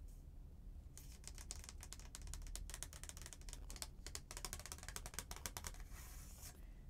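Long painted nails tap and scratch the front of a thin, flat, stiff paper "Merry Christmas" greeting card held up in the air. After about a second of quiet, a rapid run of bright, crisp clicks and scratchy strokes begins and continues to near the end, over a steady low hum. It is all quiet and close, with each tap dying away almost instantly.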